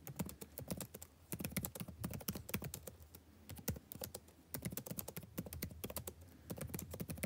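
Fingertips type densely on the plastic chiclet keys of a backlit laptop keyboard, the same keyboard throughout. The result is a steady run of quick, dry clicks and taps with short pauses between bursts. Each tap is brief, with a low thump under a bright click.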